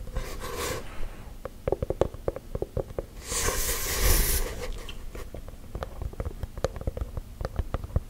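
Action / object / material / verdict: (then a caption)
tap / wooden object / wood / none. A wooden object is tapped with gel nails, giving a long run of quick, dry, clicky taps with a hollow midrange tone. The taps are broken up by short bursts of broad hissing noise, near the start and again around the middle.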